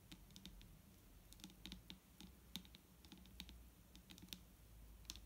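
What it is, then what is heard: Plastic bottle of liquid tapped with nails. Both hands tap long nails on a large, clear plastic micellar water bottle lying on its side and full of liquid. It makes a quick, uneven patter of light, bright clicks over a soft low hum, each tap dying away almost at once.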